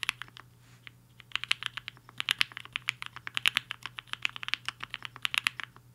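A HI-FINGER 7.5 black-cased 75% mechanical keyboard with a hollow case and white and pink plastic keycaps, resting on a desk mat, is typed on with the fingertips of both hands. A steady run of sharp, bright clacks comes in uneven bursts, each dying away almost instantly, with a brief lull near the start before the typing picks up again.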